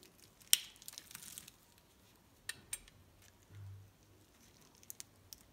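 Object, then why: Bar of soap cut with a metal blade. A metal utility-knife blade scores and carves a grid into a palm-sized, solid pink-and-white striped bar of soap held in one hand, and cubes crumble off. The sound is a series of sharp, bright crunching scrapes: one loud crack near the start, a scratchy crumbling passage, then scattered clicks, with a soft low thud in the middle.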